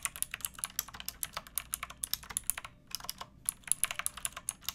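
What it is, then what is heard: Plastic mechanical keyboard being typed on. Fingertips with long painted nails type on a pink backlit plastic mechanical keyboard with round typewriter-style keycaps and a hollow case. About 32 bright, crisp clacks come in quick irregular bursts with a brief pause near the middle. Each keystroke is sharp and short with almost no ring.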